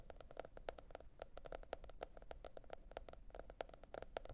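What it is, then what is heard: Cardboard hardcover notebook tapped with fingernails. A teal printed cardboard hardcover notebook lies flat and is tapped with the long red nail tips of both hands. The result is a quick, steady stream of short, dry clicking taps with a hollow tone around 650 Hz and bright edges, each dying away almost at once over a faint low hiss.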